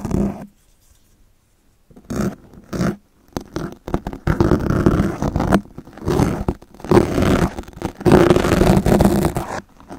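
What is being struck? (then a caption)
Foam microphone windscreen scraped with knife blades. Two yellow utility knives with extended steel blades scrape and scratch into the surface of a black foam microphone windscreen dome, leaving visible marks in the foam. Rough, muffled scratching comes in irregular bursts with a heavy low-end rumble and a brief silence near the start, then grows into longer, denser scraping passes.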